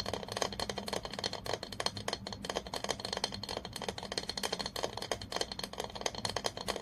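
A long fingernail taps rapidly on the glass body of an apparently empty glass olive oil bottle held in the hand. The result is a fast, continuous stream of bright, clicky taps with a faint glassy tone around 470 Hz, each tap dying away almost at once.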